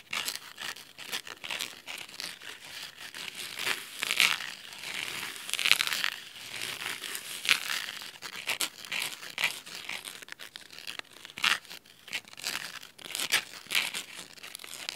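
Fingernails scratch along the edge of the navy fabric spine of a thick, cloth-covered hardcover book. The result is a continuous run of dry, crisp, crinkly scratching with irregular louder strokes, concentrated in bright high frequencies with almost no low end. Each scrape dies away instantly.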